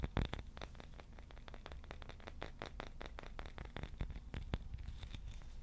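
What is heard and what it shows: A KIWI shoe brush with a solid wooden back and dark bristles is tapped and scratched with fingertips. It makes a quick, steady run of dry scratchy clicks and bristle rustles over a low, dull rumble. The sound stays quiet throughout, with a few sharper taps standing out.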